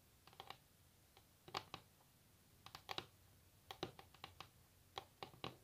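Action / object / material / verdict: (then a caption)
tap / wooden table top tapped with fingernails / wood / none. Long natural nails tap and scratch across a solid wooden table top, giving irregular clusters of quick, quiet clicks. Each tap is sharp and bright with almost no ring, centered around 1.2 kHz, and separated by brief near-silent pauses.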